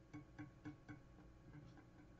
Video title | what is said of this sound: WIN 20190101 01 49 31 Pro | if you don't hear that little Kink Kink Kink Kink then uh it's touching down on it and the nut is cut too deep